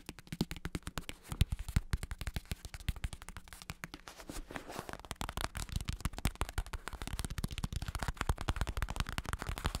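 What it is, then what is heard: Vinyl-covered bicycle saddle. A black padded bicycle saddle with red trim, with a vinyl synthetic-leather cover over a plastic shell, is held in one hand while fingertips tap and scratch it rapidly. The result is a steady stream of quick, dry, low thumps with very short ring, mixed with soft scratchy rustles across the padded cover.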